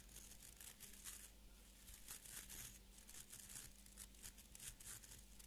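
Fingernails scratch and flick along the tips of a small beard brush with an orange wooden back and stiff fibre bristles, held in both hands. The result is a quiet, dry, crackling scratch in repeated bright bursts of hiss, over a steady low hum.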